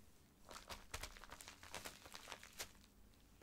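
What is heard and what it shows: Fingertips and nails scratch and squeeze the surface of a filled white plastic poly mailer bag lying flat. The result is a quiet run of bright, crinkly scratching bursts with soft rustling between them and brief pauses at the start and end.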